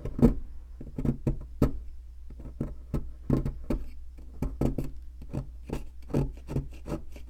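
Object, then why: Plaster block struck with a metal chisel. A metal chisel knocks and scrapes at a solid white plaster fossil excavation block, chipping off crumbs. Quick, dry taps and short scraping strokes repeat irregularly with little ring, over a steady low hum.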